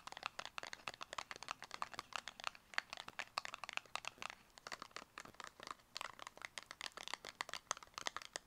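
Long acrylic nails tap fast on a small, closed, purple square cardboard cosmetic box. The result is a steady stream of crisp, dry, bright clicks centered around 1.7 kHz, with almost no low end, and each tap stops instantly with no ring.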